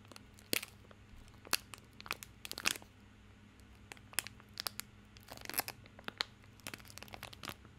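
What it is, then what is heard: Plastic film soap wrapper crinkled. Fingertips scratch and crinkle the crinkly plastic film wrapper on a small bar of soap held in both hands. Irregular bursts of sharp, bright crackles and crinkles come one after another, each dying away almost instantly, over a faint steady low hum.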